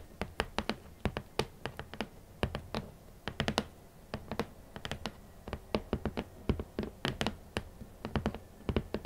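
Long nails and fingertips tap on the lid of a large, red, rigid cardboard shoe box, which is hollow. Many quick, sharp clicking taps come in uneven clusters, each with a dull, hollow low thump that dies away almost at once over a quiet background.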